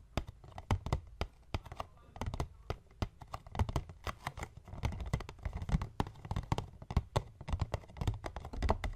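Both hands tap and scratch the top of a hollow, medium white paperboard box resting on a wooden table, using fingertips and short nails. Quick, irregular taps give dull, low, hollow thumps with bright, crisp clicks on top. Soft scratching fills the gaps, and each hit dies away almost at once.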